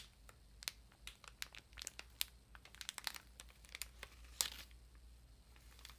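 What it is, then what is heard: Plastic-wrapped paper ream. Long nails tap and scratch across the top of a large, solid paper ream in plastic wrap. A quiet, scattered series of sharp, bright crinkling clicks and brief scratches sounds irregularly, each dying away almost at once. A faint, steady low hum runs underneath.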